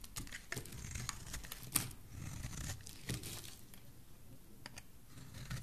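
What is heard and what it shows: A rectangular solid green bar of soap, held in the hand, has its edge scraped with a metal blade. The quiet, crisp scraping has a tearing, crinkly texture over a soft low rumble, broken by bright, sharp ticks and flakes. The sharpest, loudest scrape comes just before the two-second mark.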